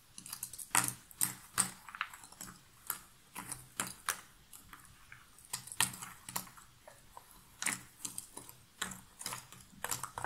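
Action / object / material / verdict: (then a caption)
scrape / loose cardboard jigsaw puzzle pieces / cardboard / none. Fingernails rummage and scratch through a pile of loose cardboard jigsaw puzzle pieces in an open box. Bright, dry clicks and rustling scrapes come in irregular bursts, each dying away almost instantly, over a quiet background.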